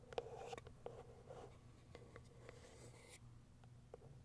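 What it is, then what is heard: Cardboard box. Long white nails scratch and tap the top surface of a small white printed cardboard box. Soft, dry scratching runs throughout, broken by sharp little taps, over a faint steady low hum. The sound stays quiet and close, and each tap dies away almost at once.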